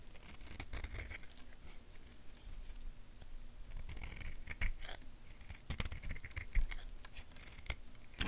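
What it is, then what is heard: Bar of soap being carved. A purple-bladed knife scrapes and carves a small, solid tan bar of soap, shaped like a curved stick and held in the fingers, shaving off small flakes. The blade makes soft, dry scratches and crisp, short scraping strokes with bright crackly edges over a low, quiet rumble.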